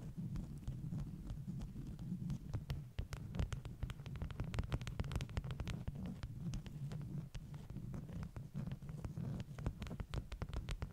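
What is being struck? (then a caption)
Stack of beeswax-coated cotton wraps. Long nails tap and scratch the surface of a stack of flat beeswax-coated cotton wraps. A steady, dense run of soft, muffled low thuds is heard, dotted with sharp, brief bright clicks and light scratchy rustling throughout.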